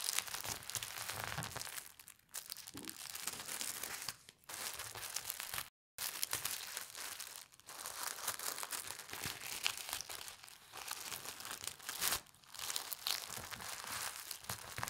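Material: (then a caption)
Paper. Red-nailed fingers fold a small stack of thin polka dot tissue paper by hand and press it flat. Continuous bright, papery crinkling and rustling fills the clip, broken by a few brief pauses, including a short complete silence near the six-second mark.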